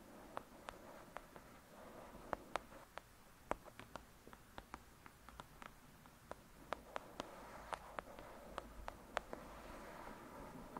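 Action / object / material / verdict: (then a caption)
tap / paperback book with card cover / paper / none. Long acrylic nails tap the cover of a thick, solid "Lady Midnight" paperback book lying flat. About 28 sharp, dry clicks fall at an uneven pace, each bright and cut off at once with no ring. A soft, quiet hiss sits beneath them.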